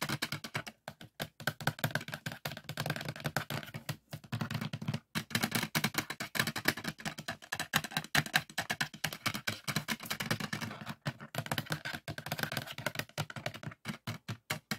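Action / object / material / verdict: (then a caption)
tap / polycarbonate DVD disc in a plastic case / plastic / none. Fingertips and nails tap rapidly on the surface of a printed polycarbonate DVD disc near the hub, the disc seated in an open black plastic case. The result is a dense stream of short, dry plastic clicks and taps with a bright edge and almost no ring, in bursts broken by brief pauses.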